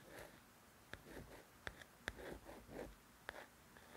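Slow, hushed scraping drifts under a handful of sharp, dry clicks pitched high, each dying at once with no ring. A fingernail is dragging and catching across a glossy paper book cover, thin card over pages that soak up any resonance. The room is quiet and close.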